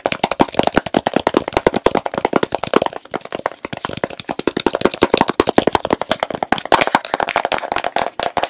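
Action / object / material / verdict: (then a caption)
tap / plastic jar with plastic lid / plastic / none. Fingertips and nails rapidly tap and scratch the blue plastic lid of a medium plastic petroleum jelly jar full of pale jelly. The result is a fast, dense stream of dozens of sharp, dry plastic clicks and scrapes. They sit mostly in the midrange with little low end and die away almost instantly.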